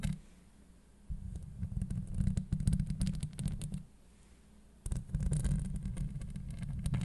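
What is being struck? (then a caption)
Steel mesh microphone grille. Long acrylic nails of both hands scratch the hollow steel mesh grille of a Blue Yeti microphone. It makes a deep, boomy rumbling scrape with dense crackling clicks, in two sustained bursts separated by a short quiet pause.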